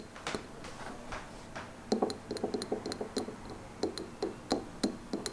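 A small clear glass jar filled with white wax, holding a lit candle and standing on a wooden table, is tapped and scratched with short painted fingernails. Quick, dry clicks and taps with a brief glassy ring mix with soft scraping, some taps carrying a bright high tick above a low-mid body.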